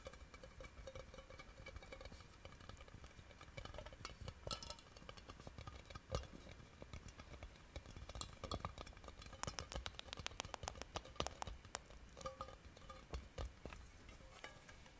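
A round, hollow silver metal tin can is held close and its flat end is tapped with long painted fingernails in a quick, irregular patter. The clicky taps are dry and short, with a light tinny ring near 500 Hz and bright high clicks over a low, soft rumble.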